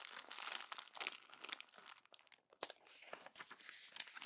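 A hand crumples and presses the pages of a glossy paper magazine, making dense, bright crinkling and crackling with almost no low end. The crackles come in quick overlapping bursts, ease into a brief near-silent lull, then return with a sharp crack before settling into steadier, softer rustling.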